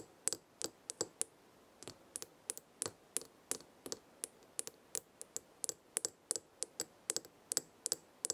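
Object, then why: Small glass jar with metal lid. Long red nails tap and scratch the sides of a small square glass jar full of dried herbs and the edge of its gold metal lid while a hand holds the jar. About thirty quick, bright clicks land at an uneven pace, each dying away almost at once. There is a faint low hum beneath them.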